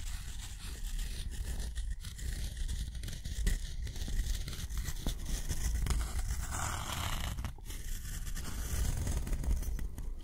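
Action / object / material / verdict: scrape / metal dip pen nib on thick cotton paper / cotton paper / none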